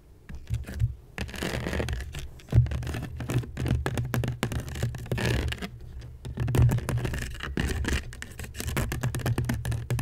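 Long nails scratch along the weave of a medium, hollow woven seagrass basket set upside down over the mic. Dense, rapid rasping scrapes ride on a heavy, boomy low rumble from the hollow basket, with a few louder thumping swells.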